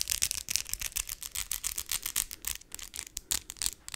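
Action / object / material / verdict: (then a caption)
tap / acrylic fake nails / acrylic / none. Long white and glitter acrylic fake nails tap nail on nail and scratch lightly, with both hands working. Quick, dense, bright clicks and rasps overlap in an irregular stream, each dying away almost at once, with very little low end.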